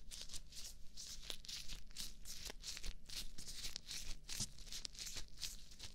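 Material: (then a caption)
Latex. Hands in thin white latex gloves rub and wring against each other right beside a binaural mic. Bright, crinkly swishes and rustles come in quick, overlapping bursts over a steady low hum throughout.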